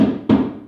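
A plywood baseboard covered with 20 mm expanded polystyrene insulation foam is tapped twice, no more lightly than before. Each tap gives a short, dull, low-mid knock centered around 250 Hz with little brightness, fading quickly. The foam absorbs the sound, so the board gives a quieter, deadened knock instead of a resonant one.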